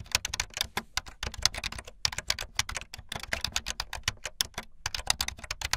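Fingertips with long light-blue nails type fast on a full-size plastic keyboard with white, blue and yellow plastic keycaps and a blue backlit frame. The result is a rapid, uneven stream of sharp, bright clicks and clacks, each dying away almost instantly, with a few brief pauses between bursts.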